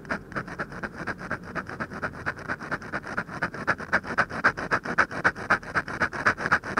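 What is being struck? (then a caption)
Paper sheet scratched with a metal ballpoint pen. A metal ballpoint pen tip scratches and taps dense hatching onto the lower lip of a drawing on a thin white paper sheet. The result is a rapid, fairly steady run of short, dry scratchy strokes, close to four per second, with a papery rasp centered around 1.3 kHz and a faint high hiss. The strokes grow slightly louder and crisper toward the end.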